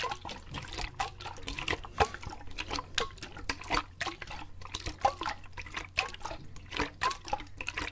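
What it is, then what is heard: Plastic bottle partly filled with water. A clear plastic water bottle, partly filled with water and held in both hands, is shaken vigorously so the water foams inside. It gives irregular sloshing and splashing bursts with bright, sharp slaps over a faint steady low hum.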